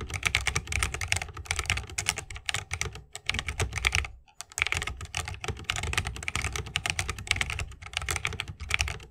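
Continuous two-handed fingertip typing on a 60% mechanical keyboard with a bamboo case, plastic keycaps and Holy Panda switches. Rapid, bright, crisp keystrokes clack over a soft low thump. There is a brief pause around the four-second mark before typing resumes.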